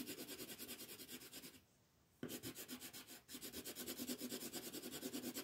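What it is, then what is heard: Colored pencil shading on paper. A yellow colored pencil shades a star on a thin printed paper coloring page lying flat on a table, using dense back-and-forth strokes. The result is a steady, rhythmic, scratchy rubbing with a bright papery hiss, which stops for about half a second midway and dips briefly once more before resuming.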